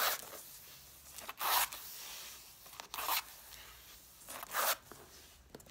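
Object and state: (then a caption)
Stack of cloth-bound hardcover books. Long dark-painted nails rapidly tap and scratch along the paper page edges and cloth covers of a pile of about six red cloth-covered vintage hardcover books resting on a wooden table. Three loud, bright, scratchy rasps stand out, with soft, dry taps and light scraping between them. The sounds are short and close with almost no ring.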